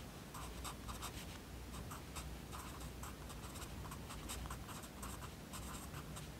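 A yellow wooden pencil writes continuously on a page of an open lined paper notebook. The graphite makes a steady stream of short, bright scratching strokes with a papery rasp, over a faint low hum. The sound stays quiet and even throughout, with no clear pauses.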